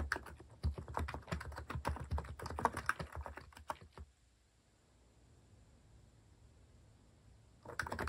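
Fingertips type on a compact white plastic mechanical keyboard with cat keycaps, producing a fast, uneven run of short clacky keystrokes. The typing stops at about four seconds and leaves a low, quiet hiss, then resumes briefly at the very end.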